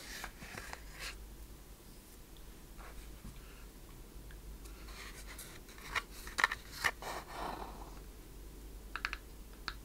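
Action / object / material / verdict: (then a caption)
tap / small wooden chest with metal fittings / wood / none. Long painted fingernails tap and scratch the front and sides of a small, closed wooden treasure chest with metal studs, a latch and corner fittings. Quiet, soft scratching runs through the first half, then sharper, brighter clicking taps cluster toward the end, each dying away almost instantly.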